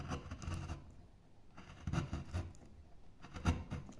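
A gouge cuts and scrapes into one end of a thick, solid oval block of light wood, and then a hand rubs and brushes the surface. The sound is a quiet series of soft, irregular scraping and rasping strokes with short, dull bursts. Most of the energy is low and muffled, with faint bright hiss on the stronger strokes.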